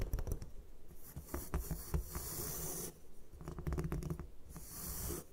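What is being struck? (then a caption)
Block of gym chalk on a table. Long nails tap and scratch a solid white gym chalk block resting on a table. Dull, low taps mix with dry, rasping scratches, and bursts of bright hiss rise during the longer scrapes.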